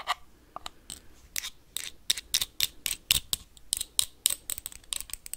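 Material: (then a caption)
Glass. Metal paperclips rapidly tap and scrape a small, empty clear glass jar with a dark lid. The result is a quick series of short, sharp, bright clicks and scratchy rasps that stop dead with no ring, plus faint quiet gaps between bursts.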